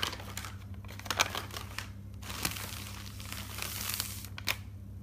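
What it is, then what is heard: Paper notebook pages being turned. Fingers turn single white pages of an open, thick paper notebook, making a soft, bright, crinkling rustle. A few sharper page flicks stand out above a steady low hum.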